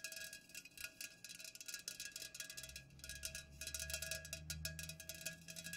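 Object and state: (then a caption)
Full aluminum soda can. Long nails rapidly tap the sides of an unopened, full Pepsi aluminum can standing upright. The result is a fast, dense patter of bright, metallic clicks with short ringing tones, over a low rumble that swells midway through.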